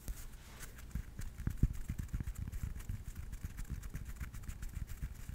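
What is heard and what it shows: A yellow tennis ball with a hollow rubber core and felt surface is held in the hand close to a microphone and scratched and tapped with fingers and nails. A quick run of dull, low, muffled taps sounds over a faint, bright scratching of felt, with each tap dying away almost at once.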